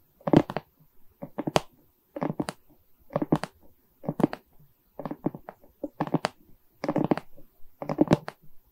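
Long nails scratch and tap across the resin rhinestone beads of a diamond painting on a wooden frame. The result is quick bursts of dry, crackly clicking and scraping that come in short clusters separated by brief pauses.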